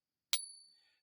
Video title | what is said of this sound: How to Spot FAKE Silver Coins or Rounds with the Pocket Pinger Coin Tester | that's the sound of silver